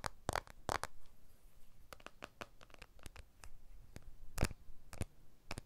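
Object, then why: Smartphone, glass back and aluminium frame. A blue iPhone 12 smartphone with a glass back and aluminium frame is held in both hands while fingertips and short nails tap and scratch along its edges and glass back. Sharp, dry clicks and brief scratchy strokes come in an uneven run, some louder than others, over a quiet low background.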